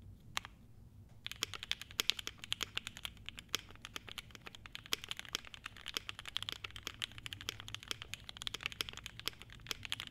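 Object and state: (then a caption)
Polycarbonate mechanical keyboard with ABS keycaps. A 75% mechanical keyboard with a clear polycarbonate case, a polycarbonate plate, cream and blue double-shot ABS keycaps, and lubed, foam-damped linear switches sits on a desk mat while fingertips of both hands type on it. After about a second of quiet with a single early click, a steady stream of quick, bright, clacky keystrokes follows, with each one dying away almost instantly over a faint low background hum.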